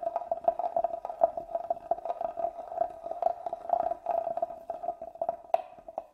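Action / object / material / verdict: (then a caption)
scrape / carved wooden box / wood / none. A small black tool scratches the carved lid and lower side of a hollow, hand-carved wooden box held upright. The result is a steady, dry scraping texture with a resonant tone around 680 Hz, broken by many short, quick ticks. One brighter, sharper scratch stands out near the end.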